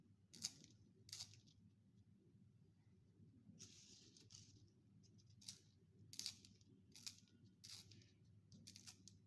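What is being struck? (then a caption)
Wooden pencil in a plastic sharpener with metal blade. A solid wooden pencil is turned by the fingers inside a yellow plastic sharpener with a metal blade, forming a long chain of wood shavings and leaving graphite dust on a white surface. It produces short, bright, crisp scraping bursts separated by pauses, over a quiet, steady low hum.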